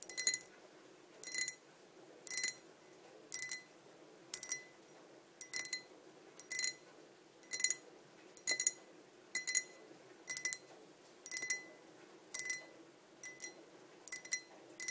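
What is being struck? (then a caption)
Glass pint tumbler. Long nails of both hands tap on both sides of a tall, clear, hollow and empty glass pint tumbler standing on a table. Quick bursts of bright clicking taps come about once a second, each with a faint steady ring around 2 kHz and high glassy overtones. The clip stays quiet, with almost no low end.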